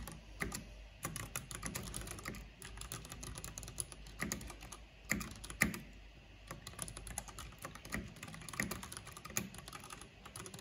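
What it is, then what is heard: Plastic mechanical keyboard being typed on. Both hands with long nails type quickly on a black plastic backlit mechanical computer keyboard with hollow plastic keycaps. The result is a steady, dense stream of sharp, clacky key clicks with a hollow low thud under bright tops, each dying away almost instantly, with a few louder strikes standing out.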